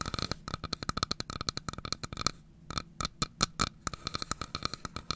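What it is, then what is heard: Wooden domino box. Long fingernails tap and scratch the wooden sides of a carved wooden domino box, about 20 cm long with a pale sliding lid, held in both hands. Around 34 quick, dry clicks follow one another with a brief pause in the middle, each with a bright, crisp tick and almost no ring.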